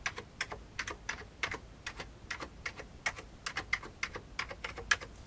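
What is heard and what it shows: Fingertips type on an old beige full-size plastic computer keyboard with hollow keycaps. About two dozen quick, crisp key taps come in an uneven rhythm, each a short bright click that dies away almost at once, with little low end.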